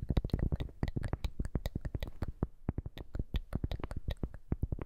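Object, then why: Cork coaster. A round, flat, thin, solid cork coaster, held upright in one hand, is tapped and scratched with the long manicured fingernails of the other hand. A rapid, uneven run of dozens of short, dull, low taps, each dying almost instantly, comes with faint scratchy texture between them.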